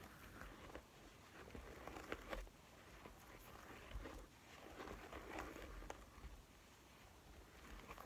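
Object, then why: Quilted faux leather wallet. Fingertips and nails tap and scratch the quilted top of a pink-beige quilted, probably faux leather, zip wallet lying flat on a table. Quiet, irregular soft taps mix with dry, scratchy rustling over a low background rumble.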